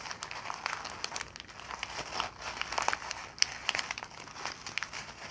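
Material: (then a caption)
Paper. A crumpled ball of brown kraft packing paper is squeezed and crinkled in both hands with fingertips and long nails. It gives a steady, dense crackle of bright, dry crinkles with sharp snaps here and there, with almost no low end. Each crackle stops instantly, with no ring.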